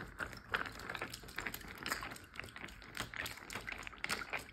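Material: Plastic, water.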